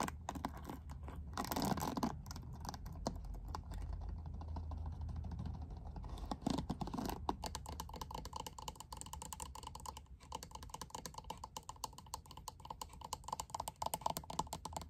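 Long nails scratch and strum across the dense black plastic bristles of a lilac plastic paddle hairbrush. The result is a rapid, dry stream of fine clicks and scratchy ticks, with brief louder rasping swipes, over a steady low hum.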